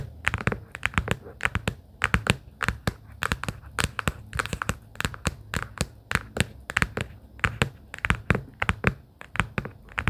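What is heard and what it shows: Long pink acrylic nails tap rapidly and irregularly on a small, hollow, closed pastel plaid cardboard sticky-note booklet case. Each tap is a sharp, bright click with a dull, low hollow knock beneath it, dying away almost at once, and the tapping continues steadily throughout.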